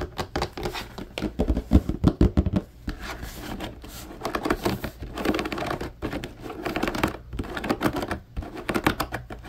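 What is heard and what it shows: Fingertips tap rapidly on the bars of the slotted grid side of a large, empty blue plastic laundry basket, close up. The result is a fast, irregular patter of short, dry, hollow clicks and dull low thuds with almost no ring. The loudest flurry comes around two seconds in, followed by a softer, steadier rattling and another burst near the end.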